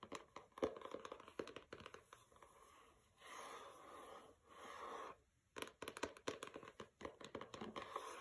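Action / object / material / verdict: scrape / paper-covered hardcover book / paper, cardboard / none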